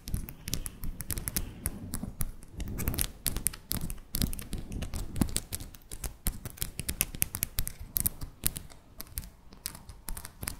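Long decorated acrylic press-on nails, small, hard and thin, are tapped nail-on-nail against each other by both hands held above a fluffy microphone without touching it. The result is a steady stream of rapid, sharp clicking taps with very short ring over a soft low rumble.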